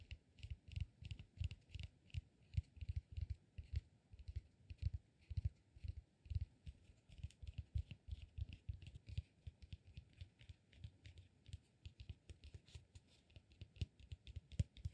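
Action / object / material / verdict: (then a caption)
tap / cork peanut-shaped massage ball / cork / none. A solid, hand-sized, peanut-shaped cork massage ball is scratched and tapped with fingertips and nails. Rapid, dull, low taps come in quick irregular bursts, each dying out almost instantly, with a faint bright scratchy edge over a quiet background.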